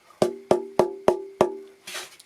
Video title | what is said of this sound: Rearranging a 1934 Martin, Part II | you can elicit a tap tone from it